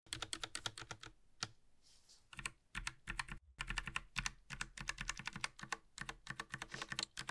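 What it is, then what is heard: Mechanical keyboard typing. Gloved fingertips type quickly on the left side of a compact Logitech mechanical mini keyboard with hollow plastic keycaps and a metal top plate, resting on a grey surface. Bright, crisp clacks come in rapid bursts with brief pauses; each keystroke is short and dry, with a light low thump beneath.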